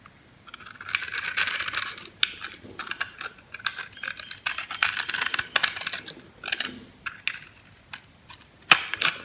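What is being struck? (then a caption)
Bar soap cut with a metal knife. A metal knife scores a solid green bar of soap held in the palm and shaves off small cubes. Dry, crunchy scraping and cutting comes in bright, crackly bursts with short pauses between strokes, and a few sharp clicks stand out.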